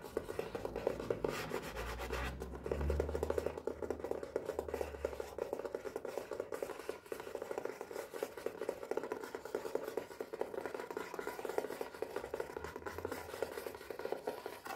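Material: Cardboard.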